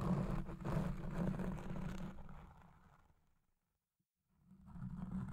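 Fingertips and long red nails scratch a black porous foam windscreen on a Blue Yeti Pro microphone, first with one hand and then with both hands at the base of the foam. Dense, rumbling scratching with a heavy low-end roar fades out to near silence, then swells back in.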